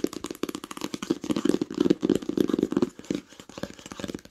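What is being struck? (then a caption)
Cloth-bound hardcover book. Long pink nails rapidly tap and lightly scratch the cover of a green cloth-covered hardcover book lying flat and solid. The result is a dense run of quick, dry, muffled taps with a warm low-mid body and no ring, mixed with soft scratchy brushing.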